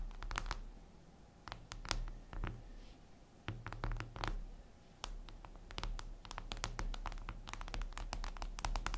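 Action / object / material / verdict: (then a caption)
tap / glass tablet screen / glass / none. Long red nails tap and scratch a flat, glossy black reflective glass surface, likely a tablet screen. Quick, dry clicks and brief scratchy bursts come in irregular clusters, each sharp and bright with almost no ring, over a steady low hum.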